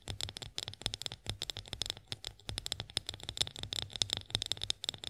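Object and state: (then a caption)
Glass oil bottle. Long acrylic nails rapidly tap on a clear glass olive oil bottle with a black spout, partly filled and held upright. The result is a quick, uneven run of dry, bright clicks, each with a short glassy ping near 3.6 kHz that dies away almost at once.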